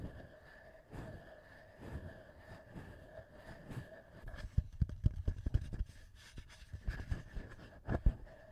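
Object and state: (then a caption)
Handheld audio recorder being tapped and scratched. Fingertips tap and scratch the top edge and metal mic capsules of a small black plastic TASCAM handheld audio recorder. Soft, muffled low thumps and scratchy rustles build into sharper, closer taps in the second half, over a faint steady hum.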